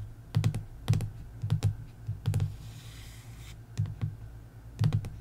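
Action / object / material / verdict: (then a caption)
tap / hardcover book with printed board cover / cardboard / none. Long nails give fast taps across the board cover of a hardcover sticker book, the Antiquarian Sticker Book, lying flat. Short bursts of dull, low thuds with faint clicky edges come in quick clusters, separated by pauses with a faint hiss.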